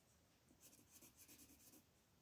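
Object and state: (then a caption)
Colored pencil shading on a paper sheet. A dark green wooden colored pencil shades a leaf on a flat printed paper coloring sheet lying on a table, its tip moving in repeated short rubbing strokes. The strokes make quiet, bright, papery scratching that fades into a faint hiss at the start and end.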